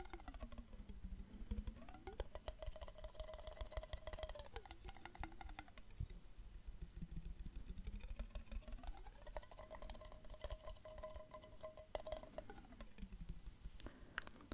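A clear glass jar, partly filled with liquid, is tilted close to the mic while fingertips tap rapidly on the glass and lid and the liquid is sloshed. Quick, dry taps and clicks run throughout. Over them, a hollow resonant tone twice glides upward, holds, and falls back as the liquid shifts inside the jar.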